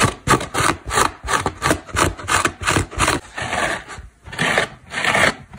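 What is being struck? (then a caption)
Synthetic foam car sponge. Long black nails scratch a dry, orange synthetic foam car sponge, a solid porous block with a cotton cord, while fingers press into it. Uneven, rhythmic bursts of dry, raspy scraping follow each other at roughly one and a half per second. Each stroke gives a bright, breathy hiss with a little low thud.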